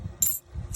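Two clad half dollars struck together twice give a dull clink with only a short, thin high ring. This marks them as clad rather than silver, which rings with a louder ping.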